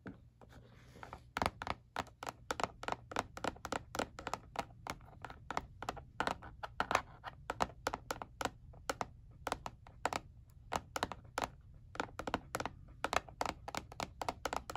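Painted fingernails tap and scratch the ridged back panel of a black hard plastic calculator held face down, its hollow casing giving each strike a short, dry clicking tone. The quick, sharp taps come in a steady, rapid stream over a faint low hum, each dying away almost at once.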